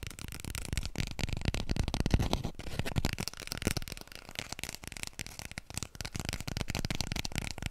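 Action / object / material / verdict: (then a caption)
tap / paper toilet roll / paper / none. A small, full roll of white toilet paper, held upright close to the mic, is tapped and scratched quickly with long nails. The result is a dense, steady stream of soft, muffled taps with a heavy low thump, mixed with dry, papery scratching hiss. The taps die away almost instantly.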